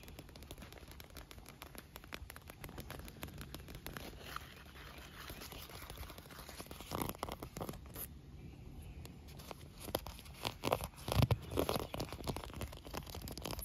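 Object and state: Inflated PVC pool float, tapped and scratched.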